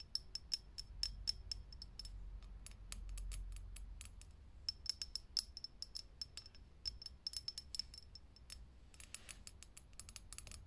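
Long fingernails tap quickly on a lit, hollow, clear glass vintage filament light bulb. The taps come as fast, dense bursts of short, bright clicks with a high, glassy ping that dies away almost at once, over a faint low hum.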